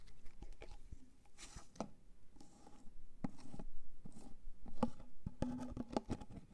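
Fingernails tap on the white plastic lid and sides of a large clear plastic Elizabeth Arden jar full of white cream. The taps are quick, irregular, dull plastic clicks with almost no ring. Between the taps there are soft scratchy, sticky-sounding rustles.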